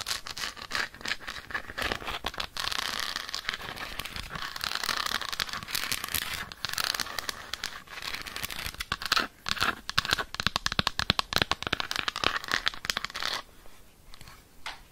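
Long nails rapidly scratch and tap the textured squares of an unwrapped, solid dark chocolate bar held in the hand. The result is a dense, bright, crackly stream of short clicks and scrapes. It quiets to sparser taps in the last couple of seconds.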